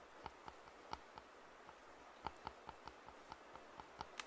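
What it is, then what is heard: Plastic over-ear headphones. Fingertips tap and scratch the padded black earcups of hollow white and black plastic over-ear headphones held up in the air. Twelve quiet, sharp, hollow taps sound irregularly, each with a short plasticky ring near 880 Hz and a bright click, then fade almost instantly into a faint background hiss.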